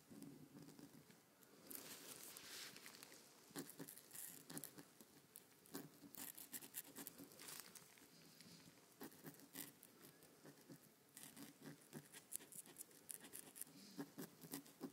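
A white marker tip is dragged in short strokes across a thin, crinkly paper blueprint lying flat on a table while fingertips rest on the sheet. The result is quiet, dry scratching with bright crinkly rustle, coming in irregular bursts separated by brief pauses.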